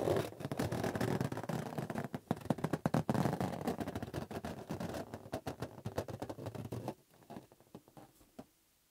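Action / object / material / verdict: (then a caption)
scrape / inflated latex rubber balloon / latex rubber / none. A hollow green inflated latex balloon is squeezed and rubbed with fingertips and palms while being turned. The result is a dense stream of quick, uneven rubbery squeaks and scrapes, weighted toward low and mid tones. The sound grows quieter and sparser near the end before fading out.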